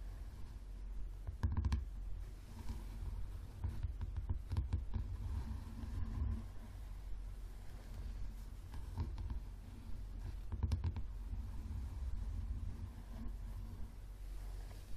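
Fingernails of both hands tap and scratch the card cover of a yellow paperback book lying flat. Quiet, dull taps and soft scratching come in uneven bursts over a steady low rumble, with a few sharper clicks standing out.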